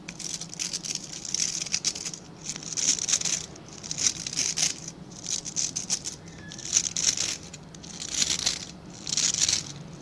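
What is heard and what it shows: Fingertips and nails scratch and rub across the tips of a hand-sized scrub brush with a plastic back and dense dark synthetic bristles, held in both hands. The result is a bright, dry, crackling scratch that rises and falls in repeated swells, with quiet gaps and very little low end.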